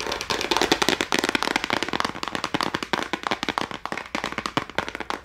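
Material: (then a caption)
Plastic. A small clear plastic case holding a row of colored gel crayons, with a red Castell label, is held in both hands and tapped quickly with long acrylic nails. Dense, rapid, crackling clicks run throughout, bright and sharp with almost no low end. Each tap decays almost instantly.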